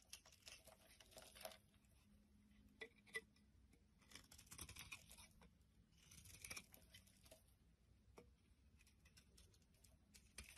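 A utility knife blade carves the edge of a solid white soap bar held in the palm, shaving it into curls and flakes. Quiet, bright scraping and crisp crackling come in irregular bursts, with brief clicky ticks between strokes over a faint low rumble.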